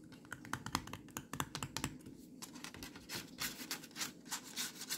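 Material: Plastic.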